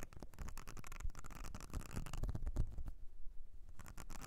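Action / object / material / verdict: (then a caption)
scrape / ridged silicone brush-cleaning mat / silicone / none. Long nails on both hands scratch the ridges of a whale-shaped blue silicone makeup brush cleansing mat with a ridged, nubbed texture. The result is a quiet, continuous run of dense scratchy patter with soft low thumps and brief bright rasps. It eases into a near-silent gap around three seconds before the scratching resumes.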